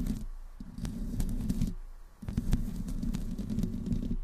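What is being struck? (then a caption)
Metal mesh microphone grille. Long green nails on both hands slowly scratch the hollow metal mesh grille of a black desktop microphone. The result is a low, rumbling, scraping texture with faint bright ticks, coming in two sustained passes separated by a brief near-silent pause.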